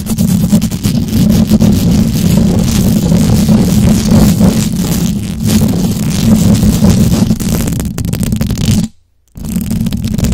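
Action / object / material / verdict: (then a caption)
scrape / knitted fabric microphone cover / knit fabric / none. Long acrylic nails scratch and grip fast at a white knitted fabric cover, soft and textured, over the hollow head of a condenser microphone. The result is a dense, continuous rumbling scrape centered low around 200 Hz, with fluttering rough texture. It cuts to near silence for about half a second near the nine-second mark, then resumes.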